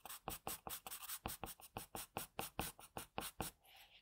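An HB wooden graphite pencil held in the fingers sketches and shades a face on a flat, thin, solid sheet of white drawing paper lying on a desk. About nineteen quick, separate scratching strokes sound bright and papery, each dying away fast. The clip ends with a softer, continuous hiss of lighter shading.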